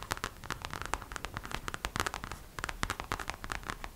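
Long acrylic nails tap rapidly across the face of a hollow, glossy gold glitter vinyl gingerbread-shaped purse. The result is a quick, steady stream of short, dry clicks with a scratchy, bright edge, each dying away almost instantly.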